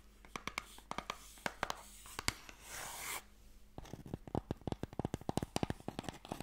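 Fingernails tap and scratch the lid of a small, closed, pale wooden Mikado box, a hollow box that holds sticks. Quick, dry taps click out one after another, broken in the middle by a steady, bright scratching rasp across the lid. The taps then return in a denser run, each dying away almost instantly.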